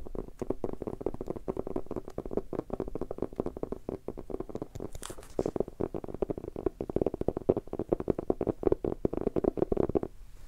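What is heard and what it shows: A small red hardcover notebook with a textured cover is held in both hands and tapped with fingertips and short nails. Rapid, dense taps give a dull, hollow knocking centered in the low mids, with a brief brighter, scratchy moment midway before the tapping resumes and stops at the end.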